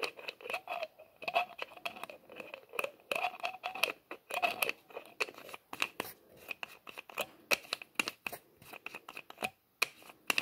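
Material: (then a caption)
Plastic. Fingertips twist and scrape the white plastic screw lid on the threads of a small, hollow, labeled plastic bottle held in both hands. The result is a dense run of quick, dry clicks and scratchy rasps with a bright, thin ring near 2.6 kHz and almost no low end. Each click dies away almost instantly.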